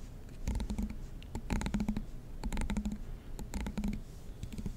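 A fingernail scratches and flicks along the long teeth of a black plastic comb. Repeated bursts of rapid, dry clicking ticks come through, bright at the top with a faint buzzy tone near 215 Hz and a low rumble underneath. Each tick dies away almost instantly.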